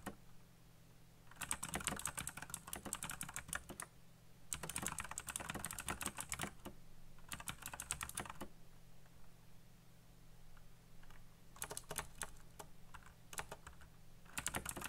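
Fingertips type quickly on a colorful backlit mechanical keyboard with black plastic keycaps. Bursts of rapid, bright, dry clicks come in several runs separated by short pauses, over a steady low hum.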